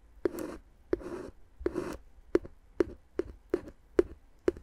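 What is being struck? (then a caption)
Inflated plastic air-column packaging tapped with a wooden stick. A wooden stick, held by a hand with long dark nails, taps and scratches the hollow, air-filled tubes of clear inflated plastic air-column cushion wrap wrapped around the microphone. The clip has ten short, hollow, mid-pitched taps. The first three are each followed by a scratchy, rustling drag across the plastic, and the rest are crisp, separate knocks.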